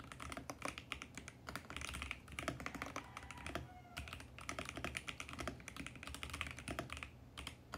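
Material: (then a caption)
Plastic. Fingertips type fast and continuously on a VGN X68 compact mechanical keyboard with plastic keycaps and a mint case, producing dense, bright clacking keystrokes with a low thock underneath. Midway through, a faint gliding tone briefly sounds beneath the clicks.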